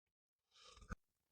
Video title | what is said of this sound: Hero Destini 125 2025 Model Detailed Malayalam Review and User Experience - Hero - Bikes - Review | metal fender ആണ് ഫ്രണ്ടിൽ കൊടുത്തിരിക്കുന്നത് അത്യാവശ്യം നല്ല ക്വാളിറ്റി ഉള്ളത് നമുക്ക് കൊട്ടുമ്പോൾ സൗണ്ട് കേൾക്കാൻ പറ്റുന്നുണ്ട്